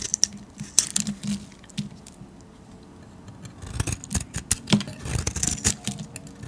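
A metal blade carves curls and flakes off a solid yellow painted soap bar held in the hand. It makes crisp, bright scraping and snapping cuts with short, dry attacks. The cuts come in scattered clusters, with a quieter stretch before a denser run of strokes near the end.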